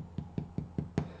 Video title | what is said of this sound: I am the Bread of Life Family Service 15th Nov 2020 | when you tap it it should sound hollow